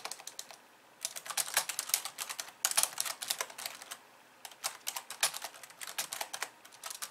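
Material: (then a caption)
Plastic. Fast typing with long nails and the fingertips of both hands on a pink plastic computer keyboard with white keys, resting on a desk. Rapid bursts of bright, dry clicks and taps rattle along with brief pauses between runs.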